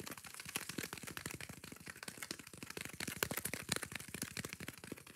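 Long nails scratch rapidly across the green abrasive scour layer of a hand-sized yellow foam kitchen sponge. The result is a dense, fast stream of short, dry, crackly scrapes with bright, hissy edges and very little low end. The level stays fairly quiet and even throughout.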